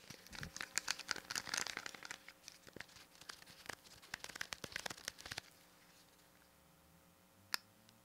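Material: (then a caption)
Plastic. Fingertips tap and press the rubber buttons and casing of a small, hollow plastic pocket calculator, and a thin metal pin scratches along its ridged side. Dense, bright, crackly taps and scratchy rasps fill the first five seconds. The sound then falls to near silence, broken by one sharp click near the end.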